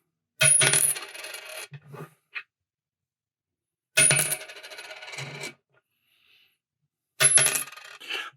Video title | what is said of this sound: 1968 Dime Ping Test, Holiday Stamps & Pocket Change -- Happy New Year! | this one has a little bit of a ring